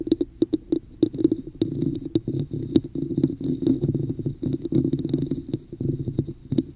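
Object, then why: Textured plastic cup. Long nails tap and scratch near the top of a hollow red textured plastic cup placed over the microphone. Quick, sharp clicks land in an irregular patter, each with a short, hollow, low-mid resonance. Between them comes a dry, rasping scratch, and every sound stops almost instantly.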